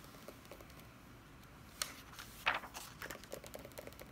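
Long red nails and fingertips tap and scratch the paper pages of a large open hardcover Dungeons & Dragons Player's Handbook lying flat. Soft, quick taps come at first, then a sharp bright scrape and a louder crinkly rustle, and a page turns near the end.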